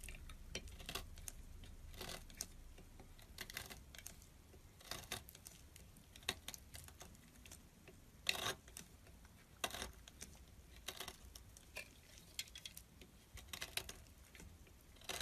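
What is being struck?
Soap bar cut with a small metal blade.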